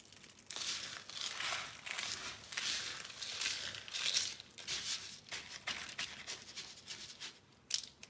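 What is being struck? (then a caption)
Small soap fragments crushed by hand. Two hands with painted nails press, rub and crush a pile of small, dry, brittle red and white soap fragments on a blue surface. The solid pieces crunch under the palms and fingertips in dense, bright, crackling bursts with almost no low end, continuing for about eight seconds with brief dips between pushes.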